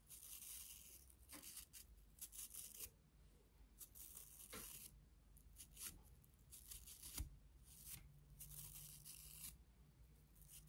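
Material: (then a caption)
Plastic. Long nails scratch the colored nylon bristles and the handle of a pink and clear plastic toothbrush. The result is repeated bursts of bright, dry, rasping scrapes over a steady low hum, each stroke fading almost instantly.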